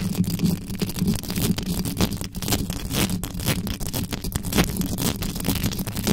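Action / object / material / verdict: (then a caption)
scrape / metal microphone mesh grille / metal mesh / none. Long yellow nails on both hands scratch fast and hard at the sides of the mesh grille of a black metal USB microphone, with no cover on it. The close-up scraping forms a dense, continuous rasp of quick strokes over a boomy low rumble, with bright crackly edges on each stroke.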